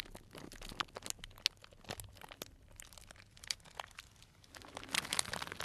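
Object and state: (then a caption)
Cellophane bag of dried tea crinkled. A small, tied, clear plastic cellophane bag full of dried tea pieces is squeezed and crinkled with fingers. It gives quiet, bright, crisp crinkling and crunching crackles that come in dense, uneven bursts, each snap dying away at once.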